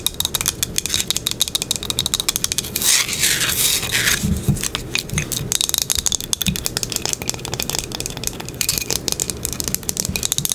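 Long pink acrylic nails rapidly tap and scratch the surface of a small, flat, light wooden box with dark round dots at the corners, held in the hands. Dense, crisp clicks and bright scraping rubs run throughout, with a louder stretch of continuous scratching near the three-second mark.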